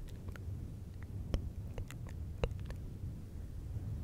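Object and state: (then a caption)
Faux fur microphone windscreen being scratched. Fingertips of both hands rub and scratch a fluffy synthetic fur windscreen on a silver microphone. The result is a steady, deep, muffled rumble, broken by scattered soft crackles and a couple of sharper scratchy ticks.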